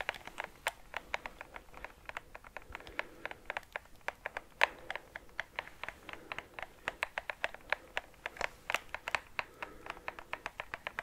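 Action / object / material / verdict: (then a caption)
tap / plastic game controller shell and buttons / plastic / none. A hand-sized, hollow white and black PS5 plastic game controller is tapped and scratched with fingertips and nails on its body and buttons. The result is a fast, irregular stream of short, dry, clicky taps with a bright edge, centered around 930 Hz with almost no low end, and soft scratching between the hits.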